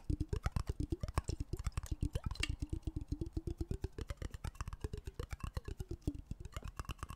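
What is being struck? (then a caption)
Glass jar with water. A medium clear glass jar with a black lid, partly filled with water, is held sideways and tapped quickly with fingertips and nails. About fifty short, dull knocks come in an uneven, rapid patter, with a low, hollow tone that shifts slightly in pitch as the water moves.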